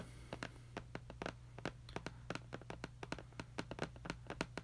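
Several fingertips tap and trace across the front face of a medium-sized printed glossy cardboard retail box for a Wahl hair clipper, lying flat on a red surface. A quick, uneven series of short, dry, hollow taps cuts off almost instantly, with faint scratchy tracing between them. A steady low hum runs underneath.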